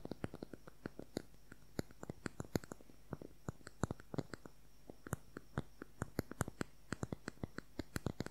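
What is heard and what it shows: Fingernails tap quickly on a small, slim, hollow, cylindrical beige plastic concealer tube with a cap. Around 48 quiet, sharp clicks come in quick, uneven bursts over a faint steady hum, each one dying away almost instantly.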